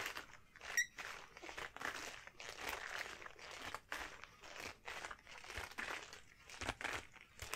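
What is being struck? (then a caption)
Rubber household gloves. A pair of long yellow household rubber gloves is worn on both hands, with the gloved hands squeezed and rubbed together and the fingers flexed. This produces a continuous stream of bright, rubbery crinkles and rustles. A sharp, pitched squeak stands out near the start.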